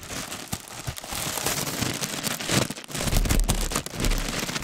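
Long nails and fingertips scratch and rub along the textured surface of a long, hollow, light roll of pink crinkled crepe paper held horizontally close to the mic. The result is a dense, crackly rustle with bright scratchy grit over a soft low rumble, swelling and dipping with the strokes.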